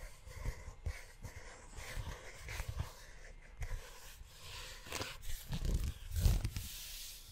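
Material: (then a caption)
Leather. Fingertips and short nails tap and scratch the cover of a tan, book-sized leather notebook held close to the microphone. Soft, low, dull thuds mix with brief dry scratching that brightens in bursts toward the end. The loudest knock lands near the close.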